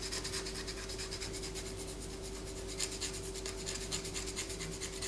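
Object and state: Bar of soap scratched with fingernails.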